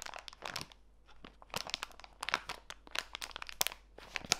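A small clear plastic bag full of walnut pieces is pressed flat and crinkled by fingertips with long white nails. Bright, dry crinkling and crunching comes in quick, irregular bursts with sharp peaks and almost no ring.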